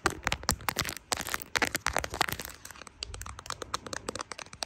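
Long pink-and-white acrylic nails tap and scratch a smartphone's brown plastic case, which has small charms attached, and the area around its three rear lenses, recorded by the phone's own microphone. A rapid, irregular series of sharp, bright clicks and crackles is heard, with brief scratching textures between the taps.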